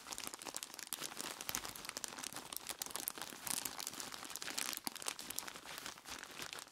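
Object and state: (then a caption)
Plastic bag of ice cubes. Dark-gloved hands squeeze and crinkle a large clear plastic bag full of ice cubes from both sides, in dim light. A dense, continuous stream of bright crinkling and crunching comes through, with sharp, quick-fading crackles and almost no low end.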